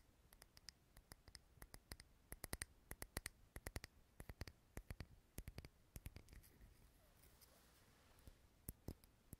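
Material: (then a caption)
Glass. A small clear glass candle jar filled with green wax, lit and held in the hand, is tapped with fingernails. Quick, bright clicking taps with very short ring come in irregular bursts, pausing briefly near the end before a few final taps.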